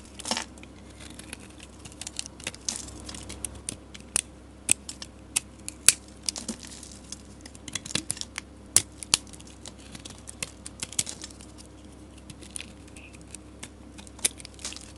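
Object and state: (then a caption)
Bar of soap being shaved. A metal utility blade scrapes thin shavings from the surface of a solid orange bar of soap held in the hand. Dozens of short, crisp, bright scraping ticks sound one after another over a soft, steady hiss. Each stroke stops dead with no ring.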